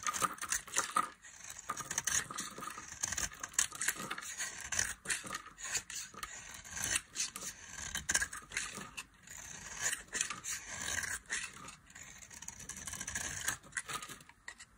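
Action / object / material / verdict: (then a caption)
scrape / bar of soap scraped by a metal blade / soap / none. A metal knife blade scrapes and carves curls and flakes from the edge of a solid, oval, palm-sized bar of dry blue soap held in the hand. A steady run of crisp, bright scraping strokes sounds with almost no low end, each stroke stopping short with no ring.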